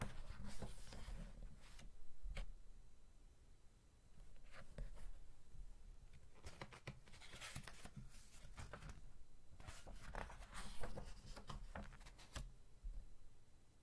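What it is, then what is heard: Glossy paper magazine pages being rubbed and turned. A glossy, thick-paper magazine lies open flat as fingertips rub across its pages, turn a page and smooth down the new spread. The sound is quiet and close, with soft papery brushing and crisp, bright rustles when the page flips.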